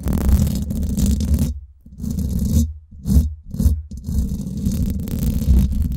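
Long nails scratch and rub the hollow domed steel mesh head of a Blue Yeti microphone. This produces a close, dense, low rumbling scrape with a bright hiss on top, broken by a few short silent pauses between bursts.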